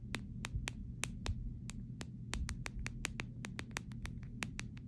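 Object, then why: Clear plastic phone case. Long pink nails tap and scratch the back and rails of a clear plastic phone case, producing a steady run of sharp, bright clicks with almost no ring. A low rumbling hum sits underneath throughout.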